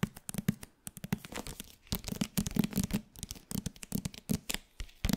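Fingertips and nails tap and scratch the front and back covers of a hardcover paper book with a glossy jacket. The result is a quick, irregular run of short, dull taps with a low thump, mixed with soft dry scratching.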